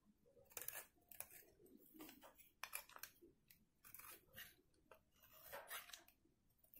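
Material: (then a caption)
Soap. A metal box-cutter blade scrapes flakes off the face of a solid, dry white soap bar held in one hand, over a pile of shavings. Repeated crisp, bright scraping strokes crackle and crunch, each dying away almost at once with no ring.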